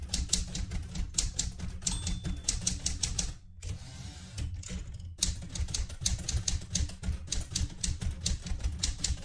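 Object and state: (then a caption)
Manual typewriter typing. Fingertips with red painted nails type continuously on the keys of a vintage, light blue, portable manual typewriter with a metal body. Rapid, bright key clacks sit over a steady low rumble, with a brief quieter pause in the middle before the typing resumes.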